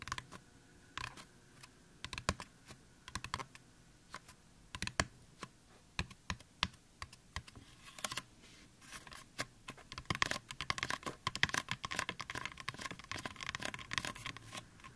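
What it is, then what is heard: Fingertip and nail tapping on a foam mannequin head. Fingertips and nails of both hands tap rapidly on the crown of a life-sized, solid white styrofoam mannequin head, possibly a binaural microphone head. The dry, bright, clicky taps die away almost instantly, starting as scattered bursts and growing into a dense, quick patter in the second half.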